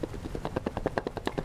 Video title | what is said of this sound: Community Conversations – Jahnna-Marie Kēhaulani Kahele Madali: Niu and Food Systems in Hawaiʻi | describes the sound when you shake this and it's that rattling